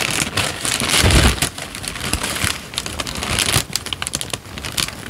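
A crumpled, thin peach paper sheet is squeezed and crinkled with the fingers of both hands. It makes dense, bright crackling and rustling, peaking in a fuller, louder crunch with a low thump near the one-second mark. The crinkling then continues in quicker, lighter snaps that fade softer toward the end.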